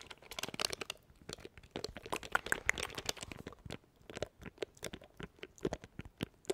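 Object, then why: Small plastic macro keypad. A small, hollow, black plastic macro keypad in the Elgato Stream Deck style is held in the hands in front of a microphone while fingertips rapidly tap and press its plastic keys. The result is a fast, uneven run of short, dry, keyboard-like clicks, bright and crisp, with little low end and almost no ring after each press.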